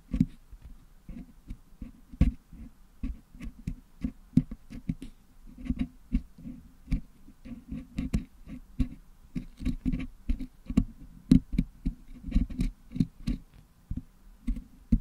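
A wooden toothpick scrapes and pokes at red and green putty lodged in the metal mesh grille of a Blue Yeti microphone, cleaning the putty out. Dozens of dull, low, muffled taps and short scratchy scrapes come in quick, uneven bursts, each dying away almost at once.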